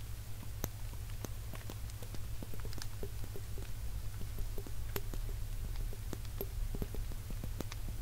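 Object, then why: Small glass jar with plastic lid. A small, hollow, clear glass jar with a black cap is held up and tapped and scratched with fingertips and nails. Soft, irregular clicks and faint scratchy ticks come at a quick, uneven pace over a steady low hum. The taps stay quiet and delicate, each dying away almost at once.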